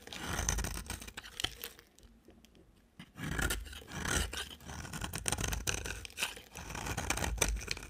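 A utility knife blade scrapes and shaves a solid, dry, bright-green bar of soap, making crisp, bright scratching strokes with a soft low rumble underneath. Bursts of rasping shavings with sharp ticks are interrupted by a near-silent pause of about a second before the scraping resumes.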